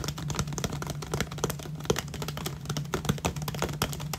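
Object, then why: Plastic water bottle. Fingertips and nails tap and scratch the sides of an empty, hollow 500 ml clear plastic water bottle with a paper label and cap. The result is a rapid, uneven series of short, dry taps with brief scratchy rustles between them, heard over a steady low hum.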